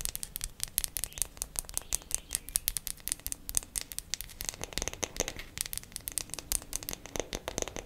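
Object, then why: Wooden makeup compact. A wooden makeup compact is tapped quickly with fingernails for ASMR. It makes a fast, steady stream of dry, bright clicks that stop almost at once, over a faint low hum. The tapping stays even and unhurried rather than aggressive.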